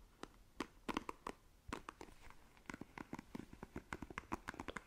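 Long nails scratch across the plastic bristles of a black plastic paddle hairbrush, producing quiet, rapid, irregular clicks and ticks. Each flick is short and dry with no ring, spread from low thumps up to bright, crisp edges.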